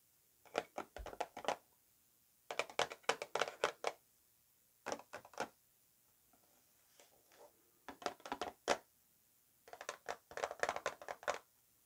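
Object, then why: Small cardboard box. Long nails tap and scratch the faces of a small, closed, hollow white Estee Lauder Infinite Sky cardboard perfume box, turning it to show the end panel. Quick, dry, hollow clicks come in five separate bursts, with a soft scraping pause between the third and fourth, and each tap dies away almost instantly.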